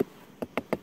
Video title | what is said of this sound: UNE SAISON AUX ABEILLES - E10 - "Haussage & Cellulage" | si ça sonne creux c'est que c'est vide si ça sonne plein comme là c'est plein